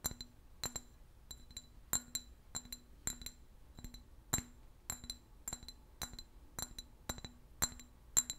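A hollow, empty clear glass bottle of about 20 cm with a yellow apple-juice label is held in one hand and tapped with the fingernails of the other. An irregular run of quick, bright glassy clicks is heard, each with a short high ring that dies away almost at once, over a quiet background.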